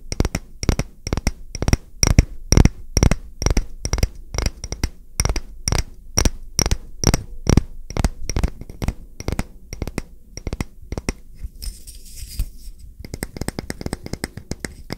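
A solid, round, palm-sized wooden coaster is tapped with fingertips and nails, held upright and then laid flat. It gives a quick, fairly steady series of short, dry knocks, each with a dull low thump and a bright click on top. The tapping pauses briefly near the end with a soft high rustle, then resumes.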